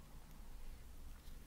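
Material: Nothing is struck.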